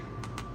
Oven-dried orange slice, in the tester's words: you can kind of hear that they're dry